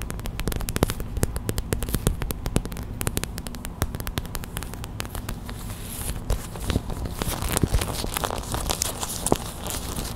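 A small clear plastic hot/cold pack filled with white gel beads is tapped rapidly with long white acrylic nails, then squeezed in the hands. The result is a dense, steady stream of sharp crackly clicks and crinkling plastic over a low, full body, with brief bright transients on the harder taps.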